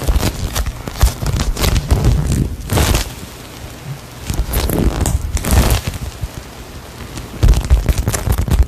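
A hand-sized, solid soft polyurethane foam ice cream cone squishy toy is held close to the mic and squeezed and tapped with long acrylic nails. This produces bursts of dense, low, muffled crackling and sticky rustling with sharp taps. The bursts are separated by quieter stretches.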